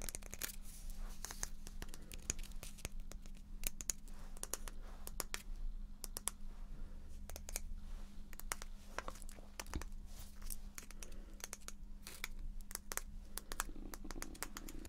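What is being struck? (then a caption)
Small painted wooden block. A small pale teal painted wooden letter block marked with a B, likely solid wood, is held close to the mic and tapped and scratched with long painted nails. Dense, rapid dry clicks and bright scratchy rasps sound over a steady low hum throughout.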